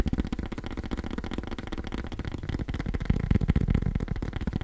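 Fast tapping on cork produces a quick, steady stream of soft, dull taps at about four per second. The sound is muffled and low-heavy, with each tap dying away almost instantly. It grows slightly fuller and louder toward the end.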